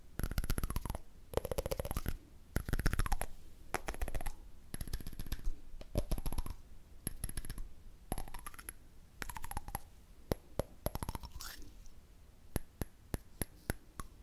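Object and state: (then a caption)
Candle lid. A candle lid is tapped in quick bursts of dry, short clicks with little ring, separated by brief pauses. A hollow tone rises and falls beneath some of the bursts.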